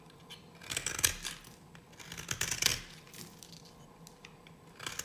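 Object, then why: Bar of soap scraped with a metal blade. A solid, dry yellow bar of soap held in a hand with long nails is shaved with a metal knife blade. It makes crisp, bright scraping and cutting sounds in three short bursts, separated by quiet pauses.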